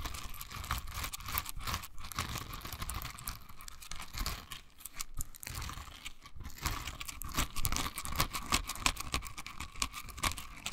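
A pink silicone bristle scrubber is held in both hands, squeezed, and its bristles scratched with long nails. The result is a dense, continuous crackle of rapid dry scratches and short ticks, with a faint steady tone near 1 kHz and a soft low rumble underneath.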